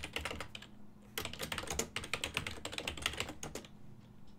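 Fingertips of both hands type on a full-size black and silver plastic desktop keyboard with keys on a hollow body. Quick, bright plastic clicks come in rapid bursts, with short pauses near the start and end. Each tap dies away almost instantly, leaving a faint low hum underneath.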